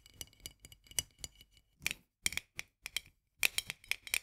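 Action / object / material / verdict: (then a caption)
tap / metal lid on a glass jar / metal / none. Long nails tap quickly on the edge of a white metal lid on a full glass jar. The result is a run of light, dry, bright ticks in short bursts with brief pauses, each click sharp and metallic with almost no ring and a tone near 2.6 kHz.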